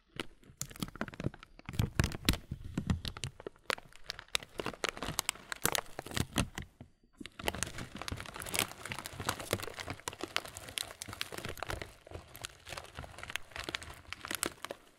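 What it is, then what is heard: Plastic bag of granola. A clear plastic bag full of granola has its top crumpled and is then squeezed in both hands. The result is a dense run of crinkling and crackling with bright, sharp snaps over a low, crunchy rustle. There is a brief near-silent pause around the seven-second mark before the squeezing continues steadily.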